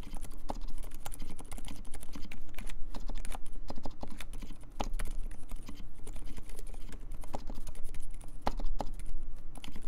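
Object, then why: Mechanical keyboard with plastic keycaps. Fast typing with the fingertips of both hands on a compact mechanical keyboard with plastic keycaps. Dense, rapid clicks and taps run continuously for about ten seconds, each keypress a short, sharp onset over a steady low hum.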